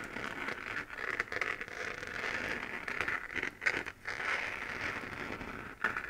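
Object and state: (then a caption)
3D-printed plastic moon lamp being scratched. Fingernails scratch the crater-textured surface of a hollow, glowing 3D-printed plastic moon lamp. A steady dry, crackly scraping runs throughout, centered around 2 kHz with a bright hiss on top and almost no low end. It swells into a few louder, sharper strokes near the middle and again at the very end.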